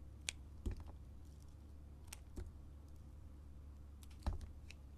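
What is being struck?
Bar soap cut with a metal blade.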